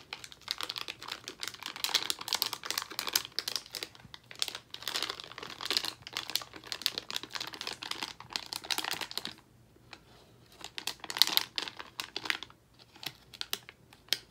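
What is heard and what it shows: A full Albanese plastic foil gummy candy bag is turned over, crinkled with fingertips, and bent and flexed. Dense, bright, crackling crinkles come in bursts of rapid sharp snaps. A brief quiet pause falls around ten seconds, and then the crinkling resumes in shorter bursts.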